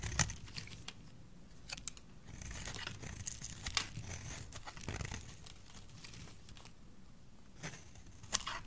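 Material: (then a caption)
Soap. A solid oval green bar of dry soap is held in the hand and scraped and cut with a metal blade. Crisp, crinkly scraping rasps are punctuated by sharp, bright crunching snaps as flakes break away. A low rumble sits under the close, dry detail.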